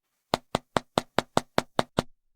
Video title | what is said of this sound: XIAOMI Leica Leitzphone 언박싱 | 여기서 텅 빈, 속이 빈 소리가 나고 굉장히 플라스틱 같아